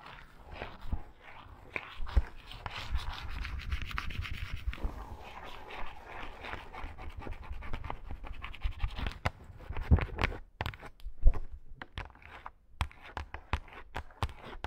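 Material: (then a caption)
Faux fur. Long shaggy pink faux fur on a rug is scratched quickly with long acrylic nails, producing a dense, soft rustling scratch. It breaks into sharper, separated scratching strokes toward the end.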